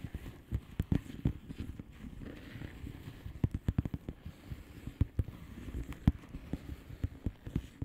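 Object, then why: Plastic bubble-wrap envelope. Long polished nails slowly tap the bubbles of a flat, hollow plastic bubble-wrap mailer lying on a surface. The taps are soft, dull and low, with sharp clicks that die away almost at once. They come at an uneven pace over a faint, steady hiss.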